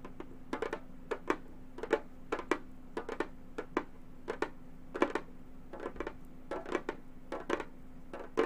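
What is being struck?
Frame drum with synthetic head.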